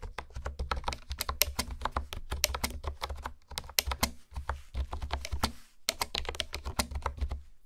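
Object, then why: Plastic keyboard with hexagonal keycaps. Long nails and fingertips type and tap on a hollow pink plastic keyboard with hexagonal honeycomb keycaps. The result is a rapid run of sharp, bright clicky taps over a hollow low thump, with a few brief pauses.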